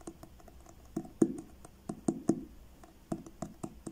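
Fingertips tap the front cover of a paperback book with a blue card cover, held upright. The taps are soft, dull and short, with a low-mid knock that dies away almost at once. They come at an uneven, unhurried pace, some louder than others.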